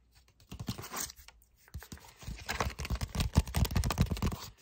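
A red paper envelope held close is tapped and scratched with fingertips, giving quick, dry, uneven taps with papery scratching and crinkling. The first bursts are sparse, then the sound turns into a denser run of crisp taps and rustles with short pauses between them.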